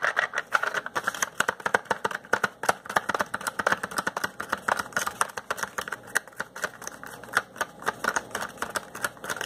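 Fingertips and nails rub and scratch the top flap and sides of a small, hollow yellow and green Crayola cardboard crayon box held in one hand. The result is a fast, dense run of dry, papery scratches and tapping clicks, centered in the upper mids with almost no low end. Each click stops short, with no ring.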